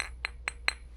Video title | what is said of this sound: v2詭異debug磁場／豐盛琉璃貔貅 & Verizon 砍價／分享 & 照顧好自己的感受｜v2 Debug Vibes/Verizon Deal/Sharing&Self-Care. Vlog004 | 我发现琉璃的声音跟玻璃还真是不一样